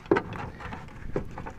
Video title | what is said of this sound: B4 Passat Seat Belt Locking Issue | you can actually hear that little check ball rattling around